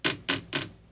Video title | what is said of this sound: Rizzuto Show Comedy Podcast - LIVE Daily from 6a-10a | that sounds like plastic. That doesn't sound like metal.